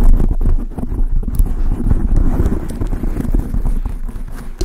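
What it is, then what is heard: Foam microphone windscreen. Long acrylic nails tap and scratch quickly on a large dark grey foam windscreen over a microphone. The result is a dense, continuous run of muffled low thumps and soft rubbing with almost no high or bright content.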